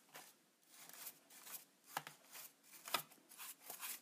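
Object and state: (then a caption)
Plastic camera body being brushed. A bristle brush is rubbed along the top of a hollow, black textured plastic Polaroid instant camera body held in a hand. Soft, scratchy strokes come in uneven bursts with an airy bright hiss, and a couple of sharper clicky scrapes stand out. The sound stays quiet and close.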